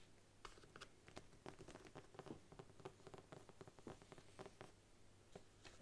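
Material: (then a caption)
Faux leather. Long nails tap the embossed front cover of a large brown faux leather Bible, first lying flat and then stood upright. The result is a quick patter of soft, dry, short taps with a faint low hum underneath.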